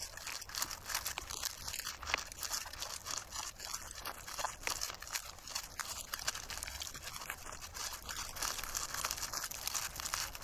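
Thumbs and fingertips rub and scratch the black seeds loose across the face of a large dried sunflower head, solid plant material held in both hands outdoors, exposing its yellowish-brown base. The sound is a steady, dense crackling and crunching scratch, bright and dry with very little low end and no ring after each tiny snap.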